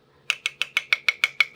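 A spoon taps the metal canning lid of a sealed jam jar nine times at a steady pace. Each tap is a tight, bright click around 2.2 kHz that dies away almost at once. The short, tight sound shows that a vacuum has formed under the lid.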